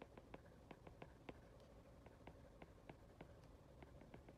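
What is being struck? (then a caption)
Glass tablet touchscreen and plastic stylus tip. An Apple Pencil's plastic tip, held by a hand with long red nails, rapidly taps and scratches across an iPad's glass touchscreen while handwriting text. About 16 quiet, dry, sharp clicks sound over a faint, low, steady background, each dying away almost instantly.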